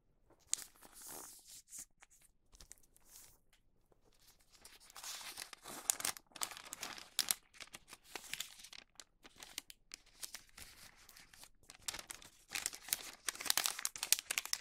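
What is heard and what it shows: A thin printed Halloween wax paper sheet lies flat on a green cutting mat and is folded and creased with fingertips. It gives off bright, dry crinkling and crackling in irregular bursts, separated by brief quiet gaps, and grows busier and louder toward the end.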